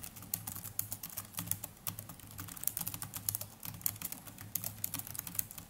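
Continuous fingertip typing with both hands on the plastic chiclet keys of a small black netbook keyboard. It produces a rapid, steady stream of short, bright clicks with no ring, over a faint low hum.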